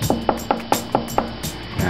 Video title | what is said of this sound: Spending The Night At Luke Skywalker's House in Tunisia, Pt 1 | it's actually quite Hollow if you knock it